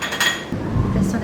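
A metal lid on a pressure-canned glass jar of tomato sauce is tapped twice to check the seal, giving two short, dull metallic clinks. The lid is judged good and properly sealed.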